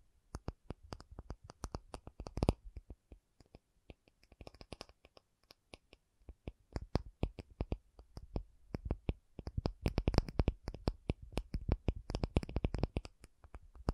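An acrylic object is tapped in quick, irregular bursts of dozens of short, dry taps. Each tap has a soft low thump with a faint bright click and dies away almost instantly. The taps grow denser and louder toward the end of the clip.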